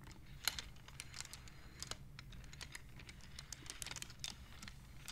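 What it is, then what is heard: Wooden abacus beads clicking. Fingertips with long nails slide the painted wooden beads of a wooden abacus along its rods, knocking them together. The result is a quiet, irregular run of short, bright wooden clicks with almost no ring, set over a faint low rumble.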